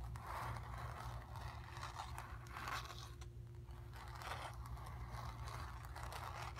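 Long nails scratch quickly back and forth over a stretched, painted cotton canvas, moving across the painted sphere and the background. Soft, dry scraping bursts rise and fall continuously over a steady low hum.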